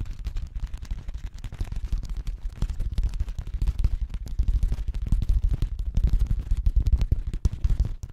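A clear, thin, empty plastic drink bottle, crumpled and held in both hands, is squeezed and crinkled close to the microphone. It makes a continuous run of sharp, crackling snaps that sound heavy and boomy, with almost all the energy deep in the low end and each crack dying away almost instantly.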